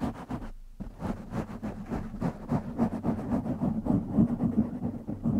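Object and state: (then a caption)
Foam microphone windscreen being scratched. Fingertips of both hands scratch a black foam windscreen on a silver microphone, producing a dense, rapid, rumbling scratch with a steady low hum underneath. There is a brief pause early on, then the scratching runs on without letup.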